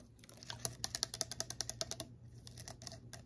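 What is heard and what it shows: Long fingernails tap and scratch a tall, narrow, clear bottle that looks like glass, with a silver screw cap and some liquid and small objects inside, held in the hand. A quick run of crisp, bright, high-pitched clicking taps fades into softer, scattered ticks and scratches over a faint low hum.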